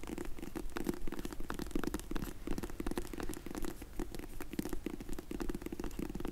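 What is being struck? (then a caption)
Faux leather hard glasses case. Long nails tap and scratch the lid of a closed, dark grey faux leather hard sunglasses case held in the hands. The result is a dense, uneven run of soft, muffled taps over a scratchy texture, with short dull clicks that die away almost at once and weight mostly in the low range.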